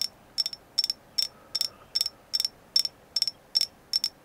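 A carved agate moon goddess figure is tapped in ten quick, evenly spaced bursts of two or three clicks each. The clicks are bright, glassy and high-pitched, with almost no low end and an instant decay.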